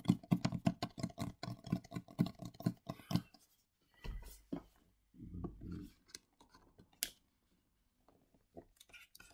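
A small printed cardboard retail box for Razer Kraken BT headphones, hollow and likely holding the headphones, is held in the hands and tapped and scratched with fingertips and nails on its front, back and sides. A quick run of dull, hollow low taps fills the first three seconds. After a pause come softer scratchy brushing bursts, a single bright click, and a few faint taps at the end.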